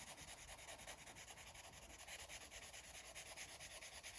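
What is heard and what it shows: A green felt-tip Sharpie marker is rubbed back and forth over a thin paper coloring book page lying on a fabric surface, coloring it in while the other hand holds the book. The result is a quiet, steady, rhythmic scratchy rubbing that is bright and hissy with very little low end.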